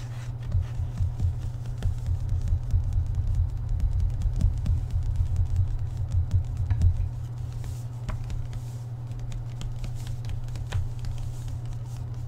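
Fingertips tap and scratch on the inside and outside of the solid board cover of an open cloth-bound hardcover book with a dark dotted cover, lying on a table. Dense, irregular, low-pitched tapping runs through the first seven seconds, then settles into a quieter, steadier scratching texture with occasional light taps.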